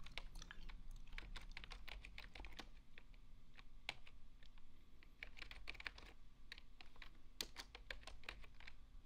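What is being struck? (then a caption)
Plastic computer keyboard. Fingertips type steadily on the hollow plastic keys of a full-size beige plastic desktop keyboard, producing a rapid run of short, bright clicks that die away almost instantly. The soft clatter sits over a steady low hum that carries most of the sound's energy.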